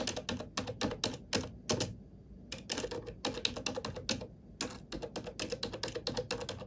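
A black plastic computer keyboard is typed on with fingertips, producing rapid, bright, clicky keystrokes with a short pause just before the midpoint. The clip ends in a crossfade between two recordings of the same keyboard.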